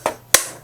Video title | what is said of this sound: 슬레이트 치는 법 - 감정씬 - 엔드 슬레이트 - 싱크 맞추는 법 - 주의할 점 | 파형이 툭하고 튀면서 싱크를 맞출 수 있는데